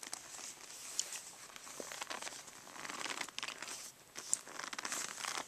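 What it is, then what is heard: Faux leather brush roll case. Fingertips and nails tap and scratch the surface of a rolled black faux-leather brush case lying on carpet, near its tie cord. The result is a steady stream of soft, dry crinkling scratches with bright, high hiss, punctuated by a few sharper tick-like taps.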